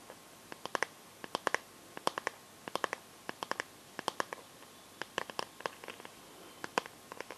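Long painted nails tap and scratch on a smartphone in a clear plastic case filled with liquid glitter, held in both hands. Quick, sharp, dry clicks come in small irregular clusters with brief pauses between them, with no ringing after each tap. The sound is quiet and light against a faint background hiss.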